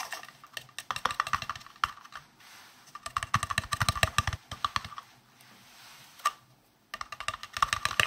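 A hollow, round, green translucent plastic case with a ridged rim is tapped rapidly with fingertips and nails. The result is bursts of quick, sharp, clicky taps with a bright ring around 1–2 kHz. The bursts are separated by brief pauses filled with faint hiss.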